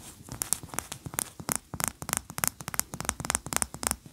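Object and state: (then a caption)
Wax pillar candle. Long nails scratch a large cream solid wax pillar candle, which is then tilted in the hand. A rapid, irregular run of short, dry, bright scratching strokes follows, each cutting off sharply, over faint low rustling handling noise.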